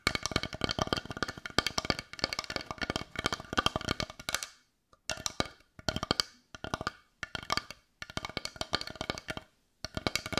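A brown carved wooden heart that looks solid is held in one hand and tapped and scratched with long nails. Rapid, dry, bright clicks and taps come in dense bursts separated by brief silences, each hit dying away almost instantly with a hollow woody tone around 1.2 kHz.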